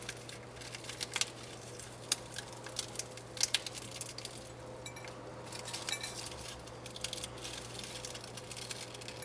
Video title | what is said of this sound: You Won't Believe How Easy It Is to Make These Flaky Cheese Pastries, 3 Ingredients, Perfect Pastry | I've turned the sound on so you can hear just how crispy it is.